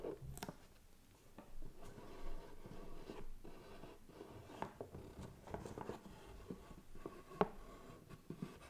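Fingernails tap and scratch across the lid and side of a closed, hollow white cardboard gift box. Soft, dry scratching runs throughout, broken by light, short taps with a hollow low body.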